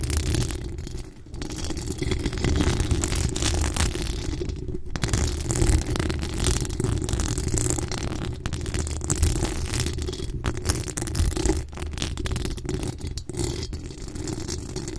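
Long coffin-shaped acrylic nails scratch steadily across the hollow metal mesh grille of a USB condenser microphone. The result is a dense, continuous rasping scrape dominated by a deep, boomy low rumble, with a thin, bright scratchy layer on top. It keeps a fairly even loudness, dipping only briefly near 1, 5 and 12 seconds.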